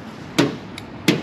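Steel body sheet metal on a 1973 Ford Mustang convertible is tapped during an inspection, after a magnet test found it sticking everywhere. Three sharp, short taps sound out, with a fainter one between two louder ones, each a quick knock with a low-mid body and a bright edge that dies away almost at once. The panel sounds healthy, solid steel with no body filler.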